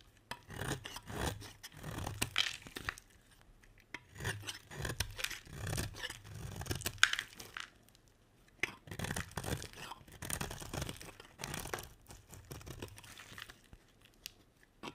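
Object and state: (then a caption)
Bar soap being scraped. A metal utility blade scrapes a solid cream bar of soap, peeling thin curls off it. The sound is a series of dry, raspy scraping strokes in short bursts separated by brief pauses, with a bright, crisp texture and a soft low thud beneath each pass.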